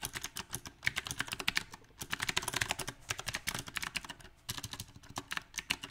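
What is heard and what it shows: Fingertips type on a backlit compact mechanical keyboard with round, typewriter-style plastic keycaps on a silver metal frame. Quick, bright clacks come in uneven bursts with short pauses, each keystroke dying away almost instantly.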